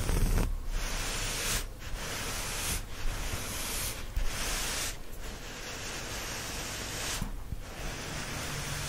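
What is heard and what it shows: Fingertips and nails scratch and rub the surface of a brown, chevron-patterned cotton terry-cloth towel lying flat. The sound is a steady, broadband, hissy scratching with a low rumble underneath. It has brief dips in texture every second or so as the strokes change.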